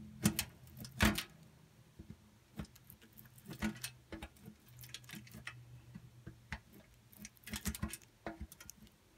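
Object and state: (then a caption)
Soap bar grated on metal grater. A pink bar of soap is scraped repeatedly against the inside of a steel box grater, and curled shavings come out through the holes. The result is an irregular series of short, dry scraping and clicking strokes with bright, crisp edges, a few louder than the rest, over a faint low hum.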